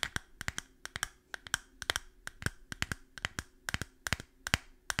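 A small, clear glass bottle that looks empty is tapped with long fingernails while held close to the microphone. It makes a quick, uneven run of sharp, clicky taps with a bright glassy tone that stops almost instantly. A faint steady hum sits underneath.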